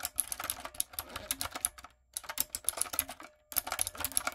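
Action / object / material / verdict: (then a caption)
tap / mechanical keyboard with round plastic keycaps / plastic / none. A typewriter-style plastic mechanical keyboard with round plastic keycaps and a light-up design is typed on with fingertips and long acrylic nails. Rapid, bright clicking and clacking keystrokes come in bursts, with two brief pauses. Each keystroke is sharp and dies away almost instantly.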